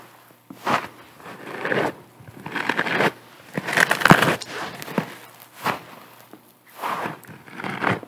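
Long nails scratch and squeeze the surface of a hand-sized, yellow porous bath sponge with a string loop, held in both hands. Short bursts of dry, crackly scratching and soft crunching come and go, separated by quiet pauses. The rustle is strongest in the midrange with brief bright edges.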